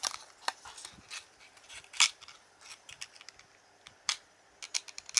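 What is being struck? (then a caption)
Small cardboard card box. A fingertip with a red-painted nail rubs and flexes the end flap of a small, hollow, printed cardboard playing card box held in one hand. Quiet, bright scratchy rustles are broken by sharp, dry clicks and snaps, with almost no low end. The crisp ticks come in irregular bursts against soft papery friction.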